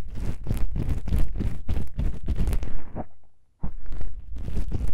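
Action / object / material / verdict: scrape / foam microphone windscreen / foam / none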